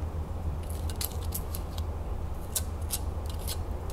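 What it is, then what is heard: Metal crown lid. Long nails scratch and tap the rim of a hollow gold and red enamel metal crown lid held sideways. Bright, crisp scratching and ticking bursts come in quick clusters over a steady low hum, with no clear separation between strokes.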